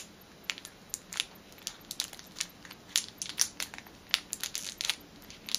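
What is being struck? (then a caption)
Cellophane-wrapped small item. A small orange rolled fitness band in a clear cellophane wrapper is held in one hand and squeezed by fingers with teal-painted nails, crinkling the plastic film. The result is an irregular series of sharp, bright crackles and crunches that stop almost instantly, with almost no low end, over a quiet background.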